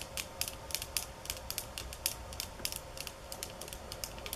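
Fingernails tap on bamboo sticks at varying speeds and intensities, giving about two dozen short, dry clicks in an uneven rhythm. Each click is bright and high, dying away almost instantly over a faint steady low hum.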